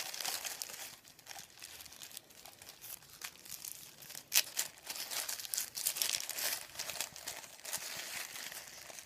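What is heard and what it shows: Hands fold, lift and crinkle a thin sheet of printed white paper above a wooden table. The result is a steady run of dry, bright crinkles and rustles with almost no low end, with a sharper crackle standing out near the middle.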